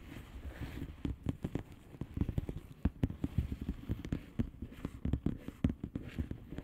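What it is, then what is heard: Plastic bubble wrap envelope. Long painted nails of both hands tap and scratch the bubbles of a blue plastic bubble wrap mailer lying flat. The result is a rapid, irregular run of short, dull taps with quick crackling scratches between them, weighted toward the low end with almost nothing bright.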